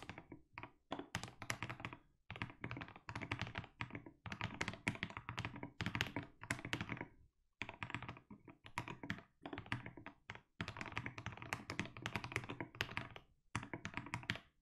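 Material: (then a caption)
Plastic. A compact mechanical keyboard with tall SA plastic keycaps and a white case is typed on steadily with the fingertips of both hands. Dense runs of deep, thocky keystrokes with short, dry clacks are broken by a few brief pauses.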